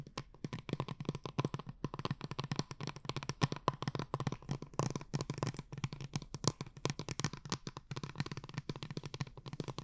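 A tall, cylindrical blue plastic glitter water bottle with a dark cap, hollow and filled with liquid and glitter, is held upright near the mic and tapped and scratched with long painted nails. Dozens of quick, dry taps run in a steady, busy stream, each with a low, hollow knock and a bright scratchy edge that stops almost at once.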